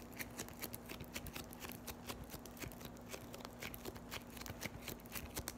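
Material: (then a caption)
Foam beads. A palm-sized, solid lump of yellow floam (foam beads in slime) is pressed, folded and scratched by long white nails. It makes a quick, irregular series of sharp, bright crackles and crunches. A faint steady low hum runs underneath throughout.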